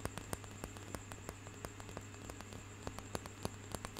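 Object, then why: Wooden hand massager with knobbed roller. A light wooden hand massager with a knobbed roller on a curved handle is held close to the mic and tapped and scratched with fingertips and nails. About fifteen quiet, sharp clicks and taps land over soft scratchy rustling, with a steady low hum and a faint high whine underneath.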